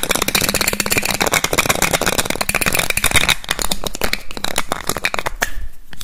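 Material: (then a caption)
Glass. Fingertips quickly pull off and push back on the black cap of a small clear glass perfume bottle, the cap clicking against the glass neck. A fast, dense run of sharp, bright clicks with a ringing tone near 2.2 kHz plays over a low rumble, each click dying away almost at once.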